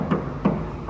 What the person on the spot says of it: I'm saying I like to knock on my tanker just to make sure it's empty